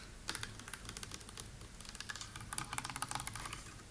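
Fingers tap and scratch quickly on a white wall of stones set in concrete beneath a brick arch, producing a dense run of short, sharp clicks. The clicks are bright with little ring, over a faint low hum.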